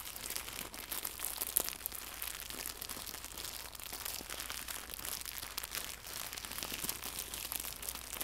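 Fingertips scrunch and crinkle a small, soft, hollow white translucent plastic pack of packaging film holding a fabric bow. A steady stream of bright, dry crackling and rustling runs throughout, with a sharper crackle near the 1.5-second mark. A faint low hum sits underneath.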